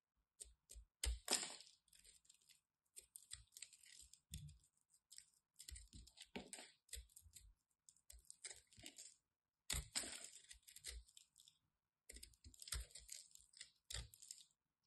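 A small metal blade cuts and scrapes a solid, hand-sized chunk of white soap. Crisp, bright crackling and scraping come in irregular bursts, each starting with a soft low thump. There are short pauses between runs of cuts.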